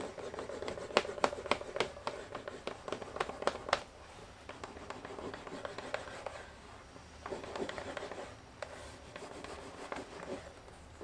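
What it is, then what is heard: Leather edge being burnished. The cut edge of a thick, solid, flat vegetable-tanned brown leather panel for a leather binder is burnished, held in one hand and rubbed back and forth with a turned wooden burnishing slicker in the other. For the first four seconds, quick, uneven strokes make dry, scratchy friction with sharp, bright ticks and a mid-range rasp. The rubbing then turns quieter and softer, with a few brief louder passes near the end.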